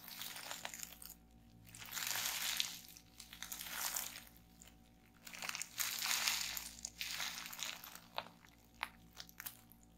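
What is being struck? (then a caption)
Plastic bubble wrap. A small piece of clear plastic bubble wrap is held in both hands while the fingers twist, pinch and pop the bubbles. Bright, crackling crinkles rise and fall in waves, with sharp, quick pops standing out near the end.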